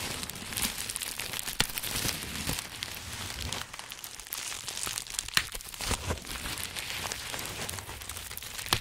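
A large sheet of green plastic bubble wrap with air-filled bubbles is bunched into a dome and held in both hands while fingertips press and crinkle it. The result is a steady, bright, dense crinkling with scattered sharp crackles and a few louder snaps, each dying away almost instantly.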